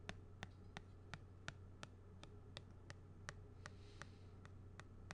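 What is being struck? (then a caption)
Small flat plastic badge holder with a card. A thin black stylus or pen tip scratches and traces across the face of a small, flat plastic badge holder with a purple printed card, held upright. Fifteen short, sharp, bright ticks come at an even pace, each dying away almost instantly. They sit over a quiet, steady low hum.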